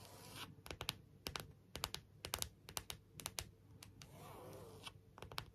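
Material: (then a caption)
Plastic. Long nails tap and scratch a clear plastic rhinestone phone case held at an angle, working over its inner and outer plastic surfaces and the rhinestone rim. Quiet, sharp, bright clicks come in loose, uneven clusters with no ring, and a soft hissing scratch fills the gaps, swelling briefly near the end.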